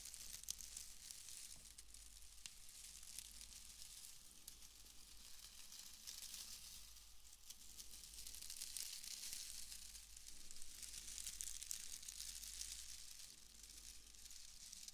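A pale bundle of wood wool shreds is held up and rubbed and crushed between both hands, giving a steady, dry, bright crackling and rustling. The crinkling swells and eases in soft waves over a low background hum.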